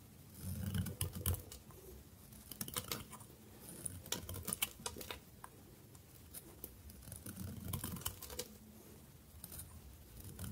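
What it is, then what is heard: Dry bar soap being cut. A narrow stick of dry soap, cut from the bar and held upright, is scraped and cut by a metal blade in repeated strokes. Quick crisp scraping and cracking bursts come in uneven clusters, with dull low thuds beneath and brief bright crackle on top.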